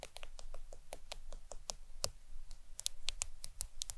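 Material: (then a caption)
Glass. Long acrylic nails tap on the glass screen of a black smartphone lying flat on a towel. The taps come as quick, dry, bright clicks, some sharper and some softer, each dying away almost instantly over a faint low background rumble.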